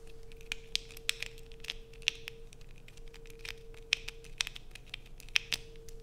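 A solid blue bar of soap held in both hands is scratched and dug into with long acrylic nails, giving a run of sharp, bright, crisp scratches and clicks that stop instantly with no ring. A steady low hum runs underneath throughout.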